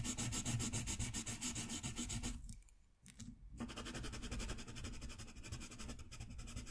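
A green wooden colored pencil shades a green area of a thin sheet of drawing paper, a coloring page resting on a white desk and held in place by the other hand. Fast back-and-forth strokes make a continuous, bright rubbing and scratching of graphite or wax on paper. The strokes pause briefly in the middle of the clip, then resume at the same quick pace.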